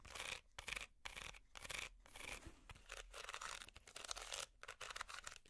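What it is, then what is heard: Woven wicker basket being scratched. Long metal finger picks scratch a small, hollow, empty woven wicker basket. The sound comes in bursts of dry, bright, raspy scratching, broken by short quiet gaps.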